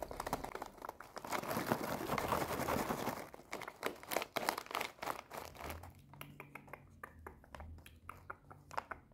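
A red foil-lined plastic snack bag full of puffs is crinkled and scratched with long nails. A dense, continuous crinkling rush fills the first few seconds, then breaks into quicker, separate sharp crackles and scratches over a faint low hum.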